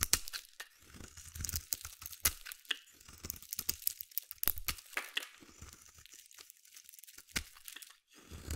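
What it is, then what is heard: Bar soap being carved. A hand-held solid white embossed bar soap is scraped with a metal utility blade, shaving it into curls. Dry, bright crackling and crunchy scraping strokes come in quick irregular bursts, each cut snapping off sharply with almost no ring.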